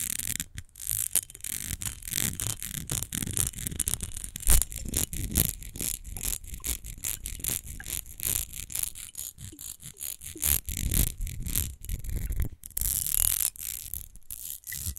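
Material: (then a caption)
Glass. Long nails scratch quickly across the grid-textured glass panels of a rectangular glass rose perfume bottle held on its side. The result is a dense, rapid run of bright raspy scratches over a low, thumping undertone, with brief pauses between bursts.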